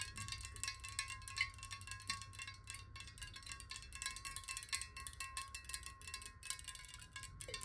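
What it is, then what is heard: Glass water bottle tapped with nails. A clear, square glass water bottle lies on its side, hollow and partly filled with water, and is tapped rapidly with the long nails of both hands. The result is a fast, continuous stream of bright, clicky taps with a faint steady ringing tone beneath them and a low background hum.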